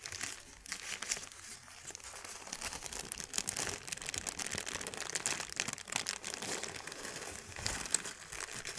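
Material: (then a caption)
Paper. A thin, hand-sized white paper sheet is crumpled and crinkled between the fingers of both hands. It makes a steady run of dense, bright crackles and crinkles with many quick snaps that die away instantly, and almost no low end.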